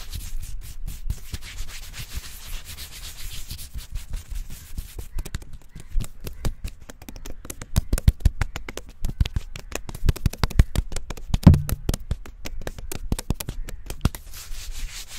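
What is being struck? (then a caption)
Tree trunk with smooth bark. Fingertips of both hands rapidly scratch, rub and tap the smooth bark of a slim, solid tree trunk. The result is a dense, fast stream of dull, low, muffled rustling and scraping, with sharper taps standing out in the middle of the clip. The scratching is soft throughout, with only a faint bright hiss on top.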